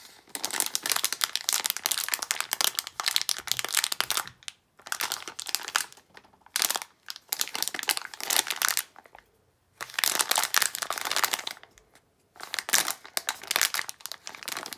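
A sealed plastic foil Disney d-Licious blind bag with a toy figure inside is squeezed and crinkled in one hand. Bright, dense crinkling and crackling comes in several bursts separated by short silences, with almost no low end.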